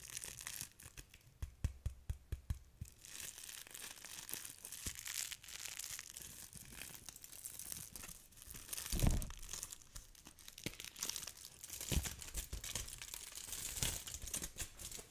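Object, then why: Thin aluminium foil sheet. A thin, crinkled, hand-sized sheet of aluminium foil is held in both hands with long pink nails, folded open and crumpled by the fingers close to a foam-covered microphone. A dense, continuous crinkling and crackling fills the clip, bright and hissy up high, with occasional soft low thumps and louder swells around the middle and near the end.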